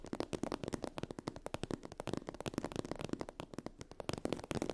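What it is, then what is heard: Holographic vinyl faux-leather fabric. Long acrylic nails rapidly tap and scratch a sheet of iridescent holographic vinyl/PU faux-leather fabric with a raised scale texture. The result is a dense stream of short, dry, crackly clicks with a soft mid-low body and very little ring.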